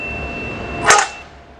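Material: Nothing is struck.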